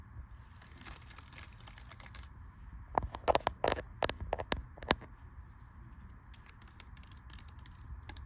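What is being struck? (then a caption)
Laptop keyboard with plastic keys in an aluminum body. Fingertips and long red-painted nails type and tap across the black plastic keys of a silver aluminum MacBook-style laptop resting on a library table. Light, bright clicks and taps start out soft and irregular, gather into a louder cluster of sharp key strikes in the middle, then thin back to sparse taps over a steady background hiss.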